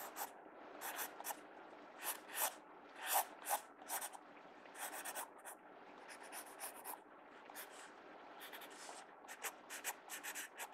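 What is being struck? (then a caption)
Pencil tip on a paper sketchbook page. A mechanical pencil tip scratches short strokes across the page of an open paper sketchbook. The strokes come as brisk, dry scratchy bursts with bright hiss, separated by quieter rubbing, with no low end.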